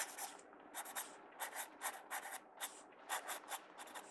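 A mechanical pencil tip is drawn across the page of an open paper sketchbook in sketching strokes, scratching the paper. A quiet series of short, bright, raspy scratches comes in quick bursts with brief soft pauses between them, with no low-end body.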